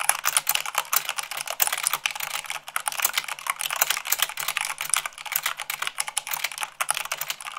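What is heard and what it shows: A full-size mechanical keyboard with white plastic keycaps on a black base is typed on quickly, at about 98 words per minute, by both hands using long pink-painted nails and fingertips. A fast, dense stream of short, bright clacks and taps with almost no low end, each keystroke dying away almost instantly.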